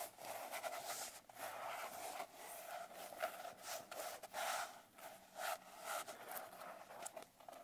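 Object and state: Glitter-covered paper notebook.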